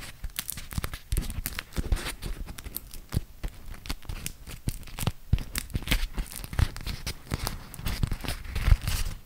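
A thin printed beeswax-coated cotton food wrap is folded and unfolded by fingertips. The stiff waxed cloth makes a steady run of sticky peeling, tearing-like rips and dense crinkling. It sounds close and dry, with many sharp, bright crackles over a soft low rustle.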